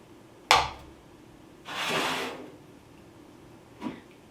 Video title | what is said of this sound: 3D Printing Metal (Virtual Foundry Bronze PLA) | this is a PLA candlestick holder